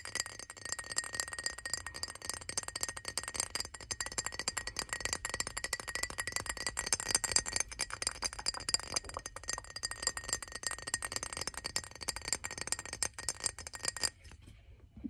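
Fingernails tap rapidly on the body of a hand-sized, clear glass perfume bottle with a gold metal cap, partly filled with dark liquid and held in both hands. The taps make a dense stream of bright, clinking, chime-like ticks with a steady high ringing tone. The tapping stops just before the end, leaving near silence.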